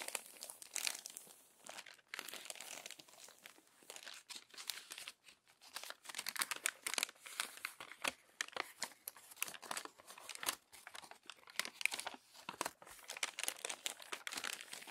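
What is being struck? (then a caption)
Glossy paper magazine pages. Hands with long nails unfold and smooth the crinkled pages of an open glossy paper magazine. Dense, bright crinkling and crackling runs throughout in rapid, overlapping bursts with brief pauses, almost entirely high in pitch with no low end.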